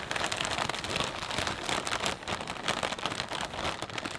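Fingertips press, pinch and rub the film of a full, clear plastic bag of potato chips, crinkling it and shifting the chips inside. A steady, dense crackle of bright, rapid crinkles runs throughout, with little low-end weight and only slight swells in loudness.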